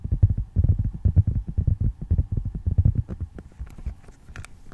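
Fingertips and nails tap and scratch the back and edges of a flat handheld tablet in a dark plastic and glass case, held upright. Rapid, uneven, muffled thumps with a deep, boomy low end come at about two per second. They fade toward the end into quieter taps with a few brighter, scratchy ticks.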